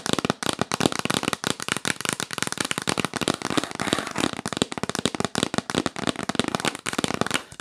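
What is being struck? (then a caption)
Cardboard box lid. Long nails tap rapidly on the printed lid of a hollow, rigid, yellow printed cardboard box. The result is a fast, steady stream of short, dry clicking taps with a bright, papery edge and almost no ring after each hit.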